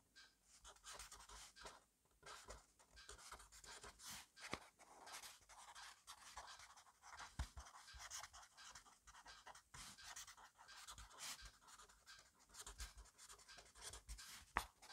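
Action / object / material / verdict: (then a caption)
scrape / pen on paper notebook page / paper / none. A black fineliner pen writes fast, messy strokes across an open grid-paper notebook resting on a desk. The quiet, bright scratching comes in rapid bursts with short pauses between words, punctuated by a few sharper taps of the pen tip against the page.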